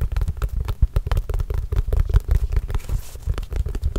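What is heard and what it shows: Fingertips tap and scratch a hollow, inflated Spalding autographed leather basketball in a quick, steady run. Each tap makes a short, dry, deep thud with almost no ring, and a faint scratchy brush of skin over the leather sits between the taps.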